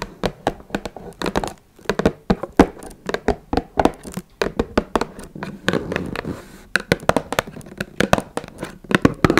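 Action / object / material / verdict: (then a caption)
tap / small closed cardboard box / cardboard / none. Long red nails tap and scratch the top of a small, hollow, closed blue Twinings cardboard tea box resting on a wooden table. A fast, uneven run of short, dry, hollow taps, each dying away almost at once, is mixed with soft scratching in the gaps.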